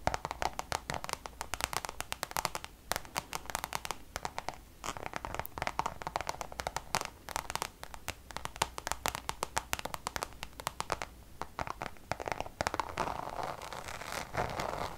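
Long nails tap quickly on the face of a Damier checkered coated canvas Louis Vuitton pouch tilted toward the camera. The result is a dense run of sharp, dry clicks with a bright edge and no ring, centered around 900 Hz. Near the end the taps blur into a rougher, scratchier texture.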